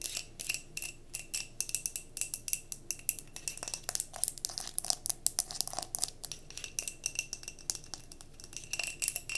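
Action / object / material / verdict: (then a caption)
tap / wax-filled glass mason jar / glass / none. Long nails rapidly tap the sides of a clear glass mason jar candle filled with cream wax and bearing a label, as the jar is held and tilted. Dozens of quick, bright, clicky taps come in irregular bursts, with a faint glassy tone near 2.5 kHz and almost no ring after each tap.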